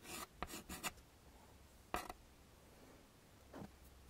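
A yellow chalk stick scrapes across a small flat black chalkboard in a wooden frame, drawing leaves. A cluster of short, bright, gritty strokes is followed by a single sharper scrape and then a softer stroke, separated by quiet pauses.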